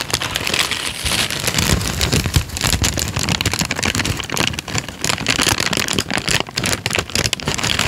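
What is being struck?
Thin paper sheet.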